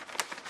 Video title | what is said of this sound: 완성도 전인데 판매가 1억 5천만 원. 한지장이 1년 5개월 동안 달 항아리 만들었더니｜무형문화재 한지 한 장당 가격｜세계적으로 인정받는 대한민국 명품 종이｜극한직업｜#골라듄다큐 | 이렇게 좀 만져보면 바삭바삭한 소리 나잖아요. 이 소리로 조금 감을 잡아요. 좀 두꺼우면은 이 소리가 조금 더 강하고요.